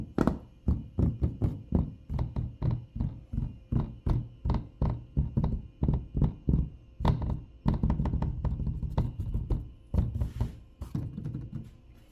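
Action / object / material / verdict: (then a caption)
tap / plastic car air intake cover panel / plastic / loose. Repeated taps on the loose plastic front air intake cover panel under the hood of a Tesla Model Y or 3 make a rapid run of short, dull, low thunks with a clicking rattle. The rattle comes from the cover's clips, which have a small gap that makes them prone to noise.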